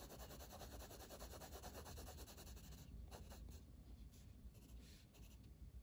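A blue wooden colored pencil, held in the fingers, shades a flat paper page of a coloring book resting on a table. Its lead rubs and scratches the paper in rapid, steady back-and-forth strokes for about the first three seconds. The strokes then become sparser and more separate, each a soft, dry scratch.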